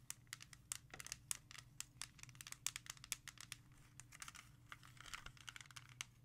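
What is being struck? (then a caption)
Plastic CD jewel case. Long nails rapidly tap and scratch a music CD in a small, hollow, clear plastic jewel case. Quick, bright, dry clicks with almost no ring are mixed with crinkly scratching, over a faint steady low hum.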